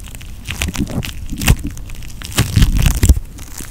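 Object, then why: Foam bead putty. Pink floam putty, made of foam beads in putty, is pinched and squeezed with fingertips and thumb. It gives a dense run of soft crackling and crunchy pops, mostly low and muffled, with a few sharper bursts standing out.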